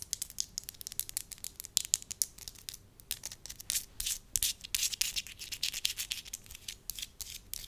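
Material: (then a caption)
Wax. A thin, translucent, pale-yellow sheet of soft wax is stretched between both hands, then held as a strip while fingertips rub and stretch it. The result is a dense run of quick, crackly, bright rubbing and scratching bursts with almost no low end, each snapping off instantly with no ring.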